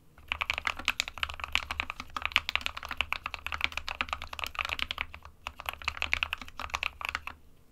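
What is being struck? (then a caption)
Plastic mechanical keyboard. Fingertips of both hands type continuously on an SK61 small 60% mechanical keyboard with a plastic case and plastic keycaps, hollow with switches inside. The result is a rapid stream of bright, dry, clacky key taps with almost no low end and no ring, broken by brief pauses near 2 and 5.4 seconds.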